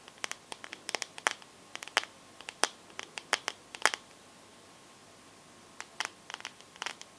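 Long nails tap and scratch the glass back of a teal smartphone held sideways, producing about 28 sharp, bright clicks with no low end and almost no ring. The taps come in quick irregular clusters, pause for roughly a second and a half of near silence, then resume.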